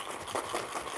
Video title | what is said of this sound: Toilet Paper Roll Noise Makers for Football : Paper Crafts | when you shake it up you can hear it makes a bunch of noise